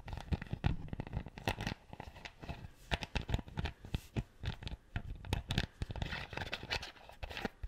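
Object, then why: Plastic screw cap on an empty plastic bottle. A plastic screw cap on an empty clear PET bottle is scratched and twisted with fingertips and nails. The result is a dense run of short, dry scratching and crackling bursts, one after another, with a heavy low thump and a bright, rough edge, in a close, quiet setting.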